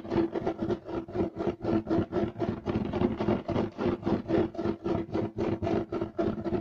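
Both hands scratch fast with short nails across a flat, solid beige striped woven loop-pile carpet. The result is a rapid, slightly uneven run of 26 short, dry rasping strokes with a low hum-like core and a bright, scratchy top. Each stroke dies away almost at once.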